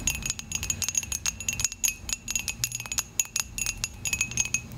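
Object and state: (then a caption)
Ceramic coffee mug tapped with nails. Long acrylic nails tap and scratch rapidly on the side of a dark, glossy, hollow ceramic coffee mug. Dozens of quick, bright clicks and clinks come in an uneven stream, each with a brief high ring. Soft scraping fills the gaps between taps.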